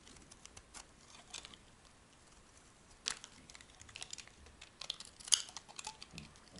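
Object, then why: Bar of soap shaved with a metal blade. A hand-held, rectangular, solid tan bar of dry, soft soap is shaved with a metal knife blade. The result is a quiet series of crisp, bright scraping ticks and crackles with almost no low end, with louder cuts near 3 and 5.3 seconds.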